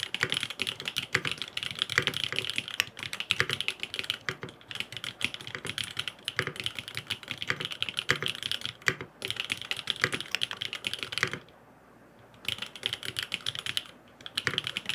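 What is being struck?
Aluminium mechanical keyboard with plastic keycaps.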